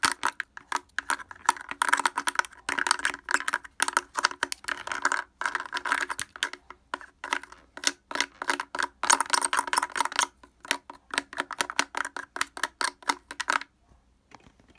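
Fingers fitted with wooden clothespins rapidly tap and scrape the front of a blue plastic portable speaker with a hollow housing and grille. The result is dozens of quick, dry clicks and clacks in dense bursts, with brief pauses. The tapping stops near the end, leaving only a few faint scrapes.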